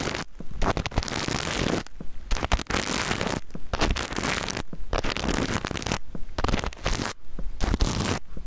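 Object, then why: Plastic-sequin fabric pouch. Fingernails scratch and flip the plastic sequins on a small, soft rainbow reversible-sequin pouch held close to the mic. Dense, crackly rustling comes in bursts separated by brief near-silent pauses, with a close, bassy thump under the bright scratching.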